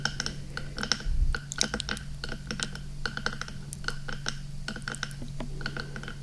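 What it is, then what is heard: Silicone microphone ear tapped and scratched. A hand taps and scratches rapidly on one black, hollow, soft silicone binaural microphone ear with fingertips and nails. Quick, dry, clicky onsets sound much like typing on a keyboard, with brief bright ticks over a steady low hum. A louder scratchy rustle comes just after the first second.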